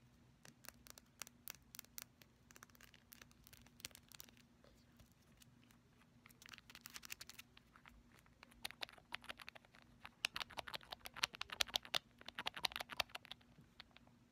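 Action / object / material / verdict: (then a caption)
tap / small glass nail polish bottle with plastic cap / glass / none. Long pastel acrylic nails rapidly tap and scratch a small clear glass nail polish bottle with a nude-pink tint, filled with polish, and its black plastic cap. The result is a dense run of quick, bright clicks and scratchy ticks that grow louder and busier toward the end, over a faint low hum.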